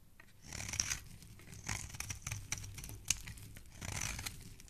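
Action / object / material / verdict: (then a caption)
scrape / bar of soap scraped with a knife blade / soap / none. A metal utility knife blade scrapes and carves the face of a solid, hand-sized pink soap bar held in the fingers, cutting it into crumbly shavings. Bright, crisp scraping and crunching strokes rise and fall in several swells, with short sharp ticks between them.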